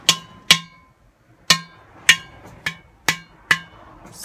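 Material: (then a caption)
Ceramic. A large, hollow, empty ceramic udu clay pot drum with a cream body and a dark, decorated neck is held against the body and struck on its side with an open hand and fingertips. Seven short, unevenly spaced slaps are heard, each a bright, clicky attack with a faint low thump and a brief tone near 1–2 kHz that dies away quickly.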